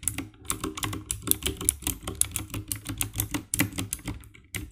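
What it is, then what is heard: Plastic mechanical keyboard. Fingertips type rapidly on the keycaps of a compact 60% black plastic mechanical keyboard with RGB backlight. A quick, uneven run of short clacking key presses follows, each with a deep thock low down and a bright, crisp click on top, dying away almost instantly.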